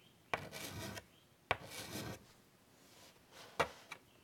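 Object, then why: Chalk on a wood-framed chalkboard. White chalk scratches detail lines across the surface of a large wood-framed chalkboard. Each stroke starts with a sharp tap and continues as a dry, bright scraping rasp lasting about half a second, separated by quiet pauses. The clip ends with two short, quick taps.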